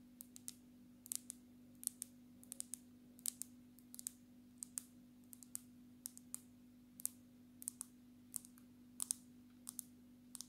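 Long natural nails tap the edges and glass back of a black smartphone held low, making about 32 short, sharp, bright clicks in irregular bursts. Each tap dies away almost instantly over a quiet, steady low hum.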